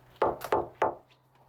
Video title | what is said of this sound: 경고등 켜진 50대.. 믿었던 내 집, 은퇴 후 나를 배신했다. 평생 '집굴레' 당신의 노후는 안녕하신가요? [KBS스페셜] - KBS 2019.08.08 | 컨테이너죠. 그래서 이거 소리가 두꺼워가지고 1.6mm라 소리가 둔탁한 소리가 나죠.